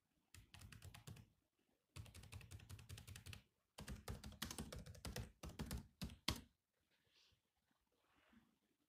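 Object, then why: Laptop keyboard with plastic keys. Bare fingertips type on the black plastic keys of a grey laptop, producing quick clicky taps with a low thump under each stroke. The typing comes in three bursts, stopping briefly between them. It ends with a few seconds of near silence and faint rustling.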